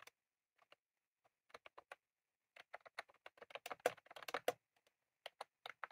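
Both hands type rapidly with their fingertips on a full-size retro-style plastic mechanical keyboard with round cream plastic keycaps, set in a plastic case on a desk. Quick, bright plastic clicks and taps come in irregular bursts with short pauses. The clicks are densest in the middle, and each tap dies away almost instantly.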